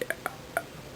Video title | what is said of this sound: Nintendo DSi review part 3 of 4 | when I hit it I then and I hear this sort of hollow noise